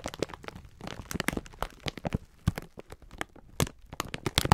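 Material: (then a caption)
Plastic film. A full pack of sponge scourers wrapped in clear plastic film is squeezed and rubbed with bare fingertips. The result is a dense run of sharp crinkles and crunches with short, dry snaps and low thumps in between.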